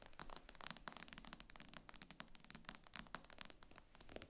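Long nails tap and scratch the glass screen of an iPad lying flat. The sound is a quiet, rapid, irregular run of short bright clicks mixed with faint scratchy rasps, each tap dying away almost instantly.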